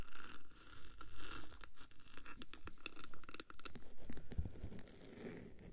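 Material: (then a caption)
Metal. Long black nails scratch and tap on the top and front of a hollow black metal 3Dio microphone housing. The result is a close, dry run of scratchy strokes and short clicky taps with little ring, heavy in the low end.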